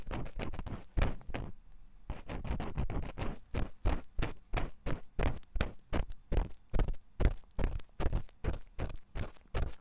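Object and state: Silicone microphone ear being scratched.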